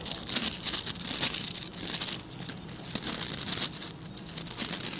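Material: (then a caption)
Plastic. Fingertips scratch and flick the stiff white and blue plastic bristles of a hand-sized blue plastic scrub brush. The result is a dense, bright, crackly patter of quick scratchy strokes, concentrated high in pitch with almost no low end.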